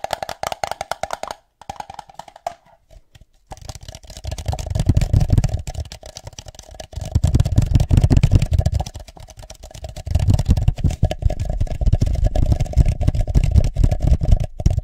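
A hollow red plastic party cup sits upside down over the top of a microphone and is tapped and drummed with the fingertips on its sides and base. Quick, irregular taps come in waves, with a short near-silent pause around three seconds. They then build into louder stretches of deep, hollow, boomy thuds with a faint steady mid-pitched tone underneath.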